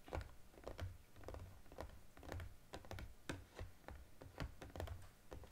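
A small cardboard EOS gift box with a plastic window is held and turned while fingertips and nails tap on it quickly. The result is a rapid run of soft, dull, low taps, each with a brief sharper click on top, dying away almost at once.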